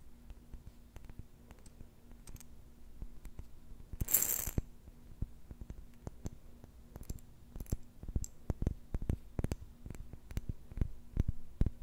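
A glass jar holding plastic beads is shaken and handled, giving scattered sharp clicks and light clinks as the beads knock against the glass. Around the four-second mark comes a brief, brighter rattling burst, and the clicks grow denser and louder toward the end over a faint low hum.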